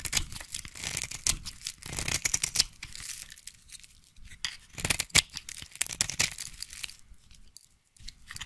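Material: Soap.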